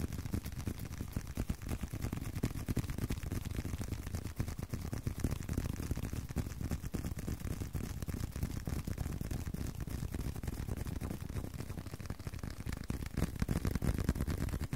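A leather card wallet is tapped with fingers in rapid, slightly irregular succession, about three taps a second. Each tap is a short, dull, low thud that dies away almost at once, and the steady stream continues at an even, quiet level without speech.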